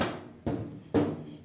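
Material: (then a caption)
Sheet metal. Three taps on the riveted sheet metal firewall panel of a 1937 rat rod give hollow, rattly knocks that ring briefly around a low-mid pitch. The panel is loose and will rattle because the span between rivets is too wide, so it needs a second row of rivets to keep it tight.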